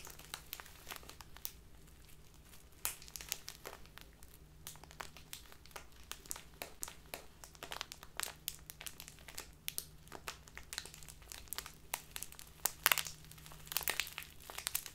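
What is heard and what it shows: A small, crinkly plastic bag full of loose tea is handled, then set upright on a table and crinkled with fingertips and nails. The result is a quiet, steady stream of sharp, bright crackles and rustles over a faint low hum.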